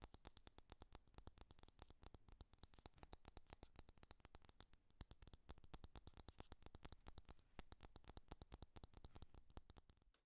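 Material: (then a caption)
Glass. Fingernails rapidly tap the glass side of a small amber glass candle jar with a black lid and paper label, solid with wax inside, held in one hand. The result is a quiet, steady stream of short, dry clicks with a bright tick and a soft low thump. Each tap dies away almost instantly, and the pace continues evenly for about ten seconds.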